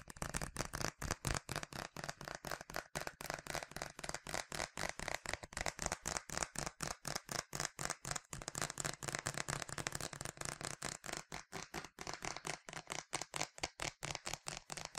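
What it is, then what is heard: Plastic spray bottle. A yellow plastic sunscreen spray bottle with a translucent cap, hollow and partly filled with liquid, is held in both hands and tapped and rubbed with the fingertips and short nails. Fast, slightly uneven tapping of about four light, dry clicks per second runs throughout, with bright high-pitched ticks and almost no ring after each hit.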